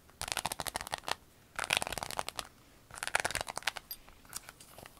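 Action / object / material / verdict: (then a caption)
tap / clear vinyl pencil case / vinyl / none. Long nails tap and scratch a flat, rainbow-colored clear vinyl pencil case lying on a table. It makes rapid, crisp, bright clicking and crackling taps that come in three dense bursts, followed by softer, scattered ticks. The sound is dry and close, with almost no low end and no ring after each tap.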